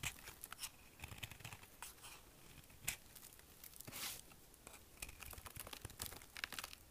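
A small metal knife carves and scrapes curls from the edge of an extremely dry, hard green bar of soap held in the palm. The result is a quick run of crisp, crunchy shaving and tearing sounds that are mostly bright, with a few sharper cuts standing out.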